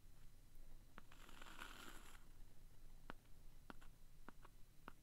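The pointed tip of a wooden stick traces, scratches and taps across the thin, flat, solid printed cardboard cover of a hand-sized vintage "Universal Cement" memo pad held in a hand. A soft, bright scratching stretch early on gives way to scattered sharp, dry taps that die away almost instantly, all at a quiet level.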